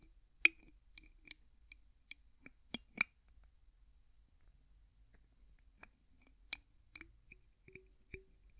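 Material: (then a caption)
Plastic. Fingertips twist the white plastic screw cap on an empty clear plastic bottle, producing a quiet, irregular series of short, dry clicks. The clicks are bright and sharp with almost no low end, centered around 2.5 kHz, and die away instantly, with a pause in the middle before they resume.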